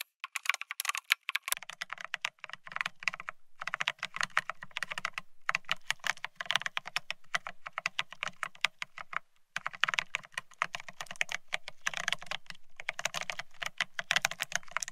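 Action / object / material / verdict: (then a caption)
tap / mechanical keyboard with ceramic keycaps on a steel plate / ceramic / none. Both hands type rapidly with the fingertips on a Bear65 mechanical keyboard fitted with blank white matte ceramic Cerakey keycaps on a steel plate, resting on white cloth. Dense streams of sharp, bright clacks run in bursts with brief pauses, each keystroke dying almost instantly, over a faint low undertone.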